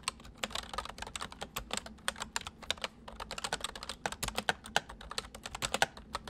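Both hands type with their fingertips on a full-size white plastic mechanical keyboard with white keycaps, resting on a wooden desk. A rapid, uneven stream of short, sharp, bright clicks and clacks follows, with each keystroke dying away almost instantly. A faint low hum sits underneath.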